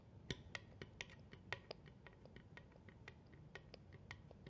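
Long fingernails tap and scratch along the face and edge of a solid wooden cheeseboard held upright, with rings possibly touching the board. Quiet, dry, bright clicks come in a quick, uneven series, each dying away at once, over a soft low rumble.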